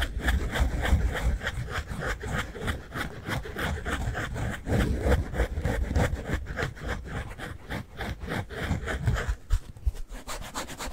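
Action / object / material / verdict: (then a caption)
scrape / synthetic foam sponge with scouring layer / foam / none. A rectangular pink synthetic foam sponge with a scouring layer is held in both hands and rubbed and squeezed with the fingertips. The result is a quick, uneven run of soft, scratchy rubbing strokes, about three per second, with dull, low-heavy body under faint crackly texture. The rubbing carries on for the whole clip with no other sounds.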